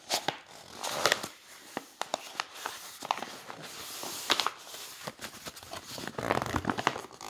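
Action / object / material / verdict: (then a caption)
flick / hardcover book with thick coated paper pages / coated paper / none. Fingertips lift and flip the thick, glossy coated pages of a large open hardcover coffee-table book one by one. Short, crisp paper snaps and swishing rustles come with a soft crinkling between turns, mostly bright with little low end.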